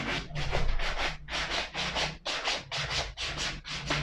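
A small wooden-handled suede brush sweeps back and forth across the upper of a hollow, empty black suede leather ankle boot held in one hand. The repeated strokes give bright, airy scratching rubs, roughly one per second, over a steady low hum.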